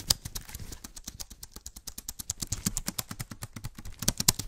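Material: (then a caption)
Plastic. An Apple-style wireless keyboard with an aluminium body and white plastic keys is held upright near the microphone and typed or tapped on with black-gloved fingertips. About 26 rapid, dry, bright clicks follow in quick succession, each dying away almost instantly with a faint low thump beneath.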